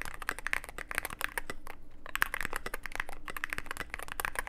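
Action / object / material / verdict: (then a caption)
tap / mechanical keyboard with plastic keycaps / plastic / none. Fingertips of both hands type continuously on a Cyberboard mechanical keyboard with plastic keycaps and a dark case. A rapid, steady stream of short, dry clacks carries a bright click around 1.6 kHz, with no ring after each stroke. A faint low rumble sits underneath.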